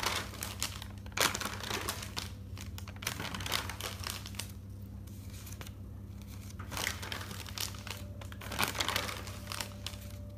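Fingers lift and turn the white pages of an open, thick paper notebook, making a steady paper rustle and crinkle. Bright, crisp bursts of crinkling rise out of the soft rustling over a constant low hum.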